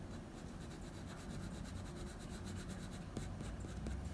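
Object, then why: Graphite pencil on drawing paper. A blue wooden pencil makes short graphite scratching strokes near the ear of a dog portrait on a sheet of drawing paper. The result is a quiet, steady, low-weighted rubbing texture, with two slightly sharper scratches standing out near the end.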